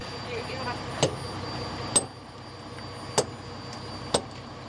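Four sharp taps are struck on a rubber truck tire during a routine check, each a brief, quickly damped knock over a steady background hum. Compared with a good tire, this one gives a dull "peok" thud when tapped, a sign that it may be punctured, though this is not confirmed by a test.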